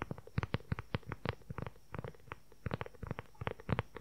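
Fingernails tap quickly on the cover of a dark brown leather-covered journal with a strap and snap, held upright. A rapid string of short, dull, low-pitched taps comes in uneven bursts with brief pauses between them.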